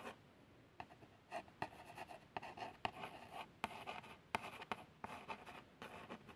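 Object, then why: Small printed cardboard box. A long fingernail traces the printed text on a small, hollow cardboard box of plasters. Quiet, light scratching strokes come with brief sharp ticks, a mid-range tone near 900 Hz and a bright papery hiss, each stroke stopping almost at once.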